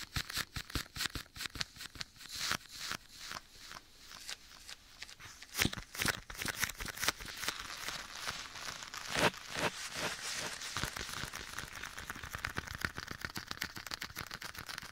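Bare fingertips tap a soft, hollow black leather glove worn on one hand and held beside the ear of a binaural microphone. Quick, uneven taps and soft leather creaks run throughout, with an echo effect applied that smears them into a denser, brighter wash in the second half.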